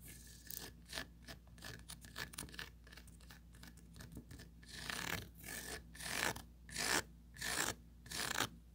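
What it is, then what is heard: Plastic mesh tray scratched with nails. Long pointed acrylic nails scratch across the textured mesh grid surface of a small, hollow, empty oval plastic tray with a raised rim. Quick, soft, raspy scratches come in an uneven rhythm at first, then build into longer, louder, bright grating strokes toward the end. A faint steady low hum sits underneath.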